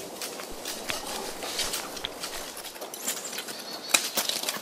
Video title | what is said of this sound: Medieval Iron Production in Holland Thijs van de Manakker - smelting ore | The clay core shrank by drought and became loose. If you shake the stone, you hear a rattling sound.